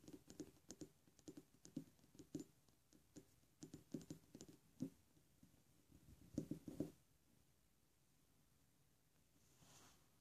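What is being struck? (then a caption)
Thick glass ink bottle. A thick glass Iroshizuku take-sumi ink bottle, full of dark ink and closed with a black cap, stands on a table and is tapped with fingernails and fingertips. The taps come in quick, irregular clusters for about seven seconds: short, dull knocks centered around 300 Hz that die away almost instantly. A quiet stretch follows, with a faint, soft hiss near the end.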